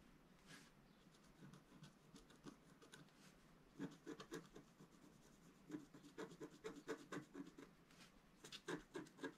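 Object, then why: Black-coated scratch-art paper with a wooden stylus. A wooden stylus scratches lines into a flat sheet of black-coated scratch-art paper held down by one hand. Soft, dry rasping strokes start quiet, then become louder and more rapid from about four seconds on. The short scraping bursts repeat at an uneven pace, with a low-mid body and brief high, bright edges.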